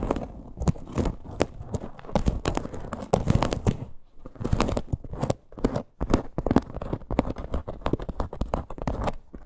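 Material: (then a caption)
Faux leather. Long green nails scratch and tap a small teal faux leather crossbody purse with a stitched parrot appliqué. The result is a dense run of dry scratches and soft, crackly taps, mostly low and muffled, with brief pauses near the four- and six-second marks.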